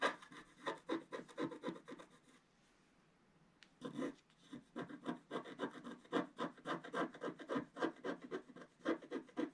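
A wooden stylus scratches leaves into the lower left of a flat, wax-coated scratch art page. Quick, dry scratching strokes repeat in a fast, uneven rhythm, then stop for about a second and a half of near silence. The strokes then resume and continue to the end.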